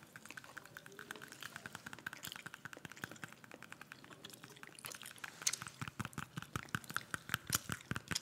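A whole, solid red apple is held in hand close to the microphone and tapped and scratched with long manicured nails, while peeled apples sit still nearby. Dense, quick, irregular clicks and scratchy ticks run throughout, getting louder and sharper in the second half. Faint gum chewing may be audible underneath.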